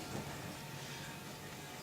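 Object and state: Nothing is struck.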